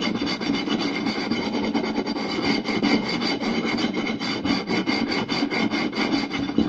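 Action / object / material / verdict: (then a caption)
scrape / round wooden plate / wood / none. Two hands scratch and tap a round solid wooden plate with fingertips and short nails in fast, busy strokes. A steady dry rasp runs throughout, with quick taps and scrapes crowding together. A warm wooden body sits under bright scratchy edges.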